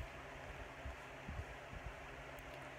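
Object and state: Nothing is struck.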